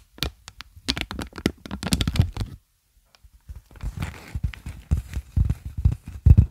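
Clear plastic air-column packaging, an inflated air-cushion sheet of hollow tubes, is held in both hands and squeezed and crinkled with the fingers. Dense bursts of crackling and soft low thumps come in two flurries separated by a brief near-silent pause, with most of the energy down in the lows.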